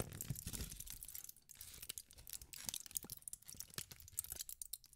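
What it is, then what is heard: Aluminum foil being crumpled. A thin sheet of aluminum foil is crumpled and squeezed in both hands by fingertips with pink nails. It gives a dense, irregular run of bright crinkles and sharp crackles with soft low rustling underneath, staying fairly quiet throughout.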